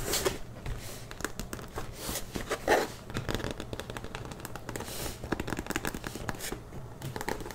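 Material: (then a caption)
Faux leather. Long dark-painted nails scratch and tap across the smooth front panel of a large burgundy faux leather Kenneth Cole Reaction tote with tan straps and gold lettering, held upright, hollow and soft-sided. The result is a steady run of quick, dry crinkling scratches and soft taps with brief bright bursts over a low, muffled hum.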